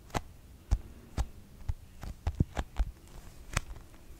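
A pink plastic cosmetic squeeze tube is scratched along its surface and tapped with long nails, giving ten short, dull, low thuds. Faint scratching fills the gaps between the taps.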